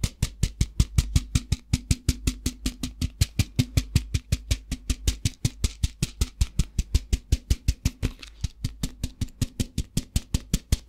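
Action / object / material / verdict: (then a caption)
tap / plastic tub filled with rice / plastic / none. A translucent plastic tub filled with rice is tapped with fingertips and tilted so the rice shifts inside. About sixty quick, short taps come in a fast, fairly even run, each a dull, deep thump with a crisp bright click on top. Around the eighth second a soft granular rush of shifting rice briefly blurs between the taps.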